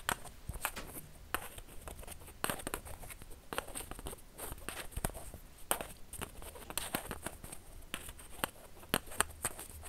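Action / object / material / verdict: tap / plastic ping pong ball / plastic / none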